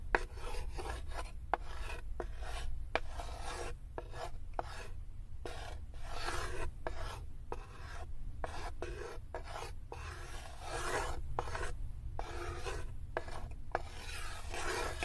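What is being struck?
Unfinished wooden tray.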